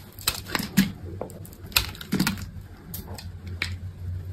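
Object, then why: Soap bar cut with a steel blade. A steel utility knife blade shaves and scrapes flakes and cubes from a solid, hand-sized bar of white soap. Short, crisp, bright scraping and cutting clicks come at an uneven pace over a steady low hum.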